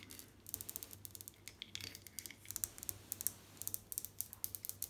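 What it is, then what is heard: Ceramic mosaic wall tile. Long nails tap and scratch white glazed ceramic bathroom wall tiles with a mosaic border, flat and solid. About 29 quick, bright, dry clicks come in uneven bursts, with soft scratchy rasps between them. A faint steady low hum sits underneath.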